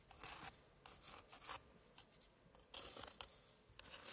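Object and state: Antique paper scrapbook page.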